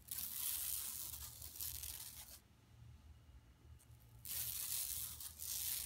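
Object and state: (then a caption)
Woven plastic mesh bag scratched. Long nails scratch the woven plastic mesh over the print of a flat, empty yellow woven plastic mesh tote bag lying on carpet. The result is a dry, bright, hissing rasp in two sustained stretches separated by a quieter pause near the middle, with a faint steady low hum underneath.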